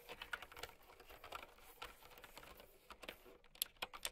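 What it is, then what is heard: Plastic mechanical keyboard being typed on. Fingertips with long painted nails type steadily on a mint and white plastic typewriter-style mechanical keyboard with round keycaps. Quick, bright, clicky key taps patter quietly in an uneven rhythm, each one cut off sharply with almost no ring and little low end. A few crisper, louder clacks stand out near the end.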